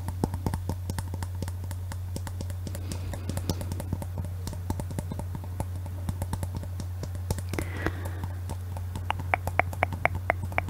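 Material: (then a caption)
Glass. Long nails tap rapidly over a clear, hollow glass Christmas bauble with a glittery base, held in both hands, producing a dense run of short, dry clicks and ticks. A steady low hum sits underneath throughout, and the final few seconds bring brighter, slightly ringing glassy taps.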